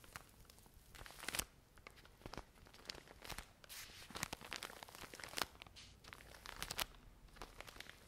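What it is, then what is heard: Plastic-wrapped pack of cotton pads. A full, plastic-wrapped pack of cotton pads is scratched and squeezed with long nails. The crinkly plastic film gives bright crackling and crinkling with sharp clicks over a soft rustle.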